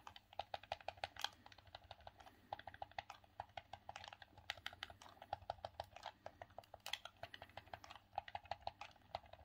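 Thumbs repeatedly press and click the D-pad and buttons of a grey, hollow, hard plastic hand-held Sega Saturn game controller. A quick, uneven run of dozens of short, dry, bright plastic clicks sounds with almost no ring, over a faint low background hum.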